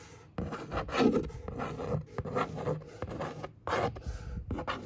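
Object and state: Cardboard box.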